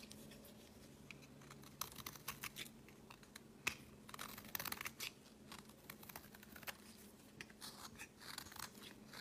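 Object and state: Bar of soap being shaved.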